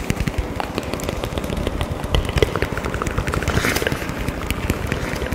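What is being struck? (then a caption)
Small kraft cardboard box. A small, hollow hexagonal kraft cardboard box, apparently empty and held in both hands, is tapped and scratched with long fingernails, sometimes close to the face. A dense run of quick, crisp taps and scratches rides over a low, rumbling body with an added echo, with a few sharper peaks standing out.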